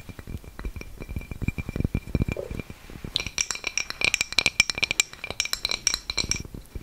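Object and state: Ceramic coaster tapped with nails.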